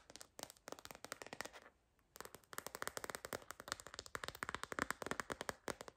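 A white floral phone case of soft silicone/TPU with a wavy orange-rimmed edge, a hollow shell held in the hands, is tapped with long green fingernails. Quick, dry, bright clicking taps come in uneven bursts, with a brief pause near the two-second mark before the tapping resumes more densely. Each tap dies away almost instantly.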